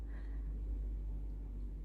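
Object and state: Nothing is struck.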